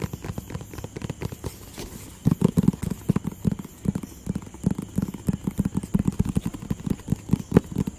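A hollow, rectangular printed cardboard product box in white and blue is tapped and scratched with fingertips and nails close in front of the mic. The result is a quick, uneven run of soft, dull, low thuds with very short decay and faint scratchy texture between them, growing denser and louder after the first couple of seconds.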